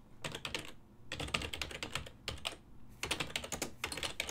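Fingertips of both hands type continuously on a full-size black and silver ergonomic plastic desktop keyboard, its keys set over a hollow body. Rapid, bright, dry clicks come in bursts separated by brief pauses. Each keystroke stops almost instantly, with a faint low thud beneath the clatter.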